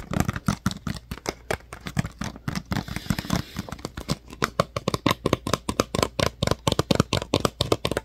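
Fingertips and nails tap and scratch the ridged sides of a clear, thin PET water bottle with a paper label that appears empty. A rapid, steady series of short, dry, hollow plastic taps with low thumps and crackly brightness continues throughout, with a brief scratchy, hissing stretch in the middle before the quick tapping resumes.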